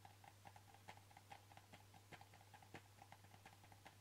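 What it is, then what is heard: Plastic pill bottle. A hollow white plastic supplement bottle with a ribbed screw cap and a red-bordered label is held in the hands while fingertips and nails tap its flat sides. The result is a quick, uneven run of light, hollow clicks with a mid-pitched ring near 800 Hz. A steady low hum runs underneath throughout.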